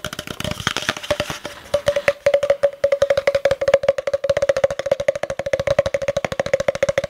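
Fingertips and short nails tap along the side of a long, empty, hollow spiral-wound cardboard tube held upright, with the face hidden behind it. About 46 quick, dry taps come in a rapid, uneven run that settles into a steady rhythm. Each tap gives a short hollow knock with a woody tone near 550 Hz and almost no ring.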